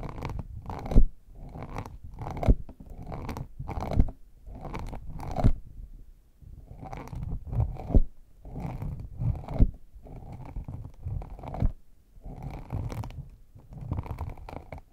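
Fingertips and short nails tap and scratch the embossed lid of a small, hand-sized hollow hard case made of brown faux leather over a rigid shell, its top embossed like a chocolate bar. Bursts of dense, low, muffled scratching alternate with brief pauses, punctuated by sharp, dry taps that stop almost instantly.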